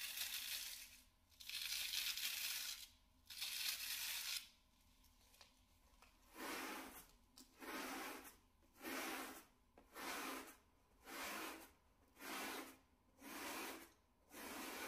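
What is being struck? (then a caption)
Synthetic pile door mat. A stiff plastic-bristled scrub brush, held in blue-gloved hands, is brushed back and forth over a small grey shaggy synthetic pile door mat lying on a laminate floor. Eleven bright, hissing scratchy strokes are heard, with three long ones first and then eight shorter, quicker ones. Each stroke is separated by near-silence.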